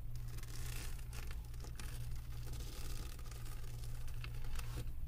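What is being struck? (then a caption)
Resin diamond painting drills on canvas board. Long acrylic nails rub and scratch across the resin drills of a flat diamond painting on canvas board. A steady, dense scratchy rustle with bright crackling flecks sits over a constant low hum, staying at an even level throughout.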